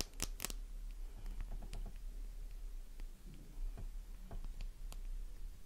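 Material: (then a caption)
Soap. Long manicured nails tap and scratch a small, solid, flower-shaped pink bar of soap held in the palm, fresh and intact. Short, crisp clicks with bright edges stand out above soft scraping, over a steady low hum.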